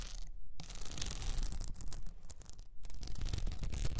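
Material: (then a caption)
Plastic. Long nails scratch a cylinder wrapped in blue plastic rhinestone mesh, tilted forward. This makes dense, crackly rasping that comes in bursts, with two brief silent gaps, over a low rumble.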